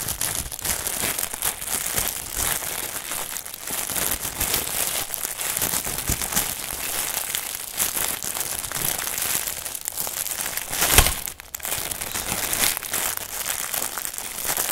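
Fingertips of both hands press, squeeze and rub the clear plastic film wrapping a long rolled bundle of packaged softbox and stand parts from a NEEWER photo-studio kit, lying on a table. The result is a steady, dense, bright crinkling with little low end, rising to a sharper burst near the 11-second mark before briefly dropping away and resuming.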